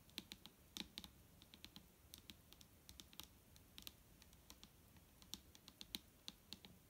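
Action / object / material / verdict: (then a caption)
tap / plastic bottle of liquid / plastic / none. Fingertips and long nails tap on the top of a large, clear plastic micellar water bottle that is full of liquid and lying flat. The result is a quick, irregular run of dry, bright clicks with almost no ring, over a faint low background hum.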